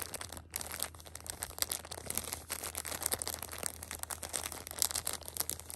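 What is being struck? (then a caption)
Plastic film wrap on a pack of pocket tissues. Long nails and fingertips scratch and rub the plastic film wrap of a pocket tissue six-pack, flipped over to its other side. Dense, bright crinkling and crackling scratches run throughout, with a faint steady low hum underneath.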